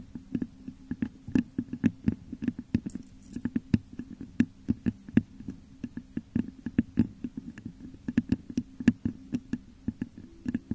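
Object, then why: Textured glass vase. Long nails scratch and tap the top of a hollow, textured clear glass vase set upside down over a microphone. A rapid, irregular stream of soft, dry clicks and taps rides on a low, hollow hum around 234 Hz, with each tap dying away almost instantly.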